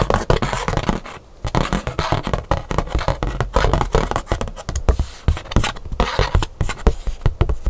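Long pink nails rapidly tap and scratch a thin black scratch-art paper card held up in the hands. The result is a dense stream of short, dry clicks and papery scrapes with a low, thumpy body, pausing briefly once before the tapping resumes.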